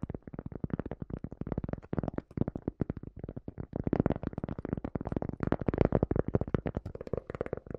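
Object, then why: Cork coaster. Long dark nails tap and scratch the surface of a small, round, solid, flat cork coaster held in both hands. Rapid, dense streams of short, dry, muffled taps with low body and almost no ring, mixed with soft scratching, continue steadily throughout.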